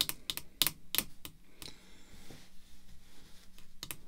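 Long red-painted fingernails tap on the front of a rigid, hollow, clear plastic graded slab holding a vintage "Pride of N.L." baseball card, lying flat on black cloth. The taps are sharp, bright clicks in an irregular rhythm, dying away almost instantly over a faint steady low hum.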